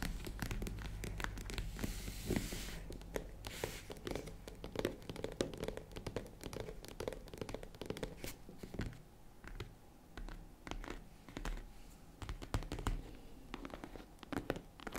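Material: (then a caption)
Faux leather. Long nail tips tap a small tan faux-leather zippered jewelry case, first across the top and front edge, then along the sides. The result is a quick, dense run of short, dry, low-pitched clicks and thuds with almost no ring, mixed with faint scratchy rustling.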